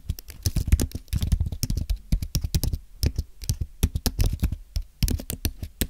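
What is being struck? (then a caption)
Low-profile keyboard with aluminum base and plastic keys. Both hands type with their fingertips on a thin, solid white Apple Magic Keyboard with an aluminum base and plastic keys. The result is a rapid run of short, dry, low-pitched key taps that come in quick bursts with brief pauses between them. Each tap dies away almost instantly.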